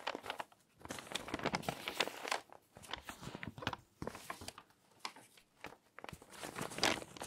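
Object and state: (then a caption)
Stack of glossy magazine pages being rustled. A loose stack of torn-out glossy magazine pages, thin paper, lying on a dark table, is rubbed by fingertips with painted nails, then the top page is lifted and flipped. Soft, bright crinkling and rustling come in bursts separated by brief quiet gaps.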